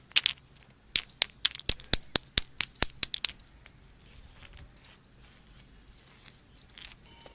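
A large, machine-carved black basalt temple building stone at a temple construction site is struck in a rapid series of blows. Each strike gives a short, bright, glassy clink with almost no ring. The taps fade out after about three seconds, leaving faint background noise.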